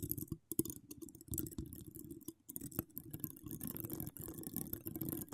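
Long acrylic nails with charms scratch across the hollow domed steel mesh head of an uncovered microphone. The result is a dense, close stream of crackly scratches and soft clicks, heavy in the low end, with brief bright flicks.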